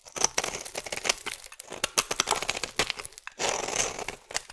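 A metal blade shaves thin curls from the side of a solid oval purple soap bar. Quick, dry scraping strokes crackle and crinkle with a bright, papery edge, ending in one longer, steady scrape.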